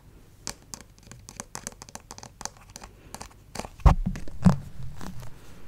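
Fingernails scratch and fingertips rub the chest and shoulder of a white plastic acupuncture model doll held close to the mic. A run of quick, dry, crisp scratches gives way near the four-second mark to louder, fuller rubbing with low thuds that fades off by the end.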